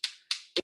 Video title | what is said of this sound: Oyster Class for HGTV Dream Home | they need to sound like two rocks on top of each other if it sounds hollow at least one of the oysters is going to be open